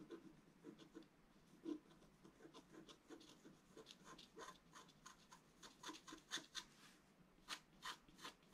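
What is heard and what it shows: A wooden stylus scratches short strokes into a fountain picture on a thin, solid, flat scratch-art card (black coating over colored foil) lying on a table. A quiet series of dry, brief scratching strokes is heard, each with bright, high-reaching texture and almost no low end, dying away almost instantly.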